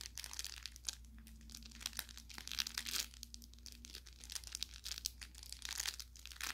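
Fingertips squeeze and pinch the narrow tip of a soft-stuffed orange velour fabric carrot toy with crinkle filling. The result is a dense run of bright, crackly crinkling that swells and eases in bursts, over a faint steady low hum.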